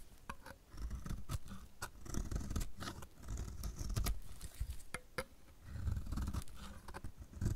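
A metal utility blade scrapes crumbly flakes off the edge of a solid, dry pink soap bar held in the hand, in repeated strokes. Soft, dry, low-weighted scraping and crunching swells and fades with each stroke, broken by occasional sharp, bright clicks.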